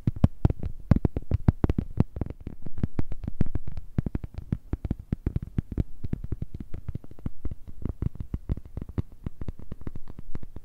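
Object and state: Plastic phone case.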